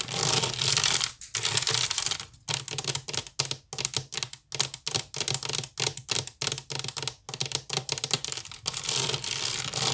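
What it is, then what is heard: Wicker basket, scratched. Long nails of both hands rapidly scratch a hollow, empty woven wicker basket. The result is bright, dry, crackling rasps in quick separate bursts with brief silences between, plus longer continuous scratching at the start and end.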